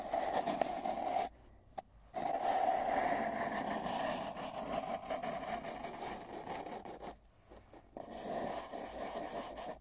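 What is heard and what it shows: Fingers at both ends of a long, hollow, spiral-wound cardboard tube rub and scratch it while a microphone sits inside. The result is a steady, hollow scraping rustle with a resonant hum around 690 Hz. It drops to near silence briefly at about 1.3 to 2 seconds and again at about 7.2 to 8 seconds.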